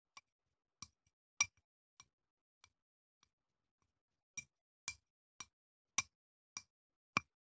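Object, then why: Glass candle jar with wax. A small clear glass candle jar with wax inside, held in one hand, is tapped on the outside with a wooden chopstick. It gives short, bright clinks with a ringing tone near 2.4 kHz that die away almost at once. The taps soften toward the middle, pause briefly, then return as a steady run of louder clinks.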